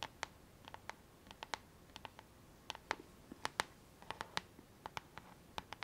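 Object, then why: Plastic paddle hairbrush back. Long fingernails scratch and tap the flat, hollow back shell of a pink plastic paddle hairbrush with a black rubber handle. Around two dozen short, sharp, bright clicks and ticks land at an irregular pace, each dying away almost instantly over a quiet, faint hiss.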